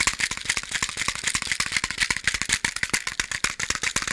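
A box of matches is handled and shaken, the loose matches rattling inside it. The sound is a rapid, uneven run of sharp, dry clicks and rattles, bright and thin with almost no low end.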